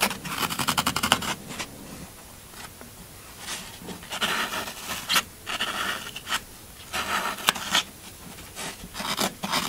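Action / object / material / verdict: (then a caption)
scrape / floral foam block / floral foam / none. A thin pointed black stylus scratches and digs lines into the surface of a hand-held, already gouged brick of solid, crumbly green Oasis floral foam, shedding crumbs. A quick run of bright, crunchy rasping strokes opens the clip, followed by scattered scrapes and gritty digs with quiet pauses between them.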